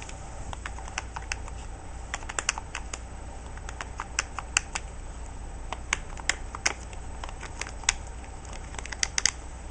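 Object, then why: Plastic TV remote control. Fingertips and nails press and tap the rubber buttons of a hollow, handheld grey-and-black plastic TV remote control held on the lap. Quick, irregular clicks and taps come in bursts, sharp and bright with almost no ring. A steady low hum runs underneath.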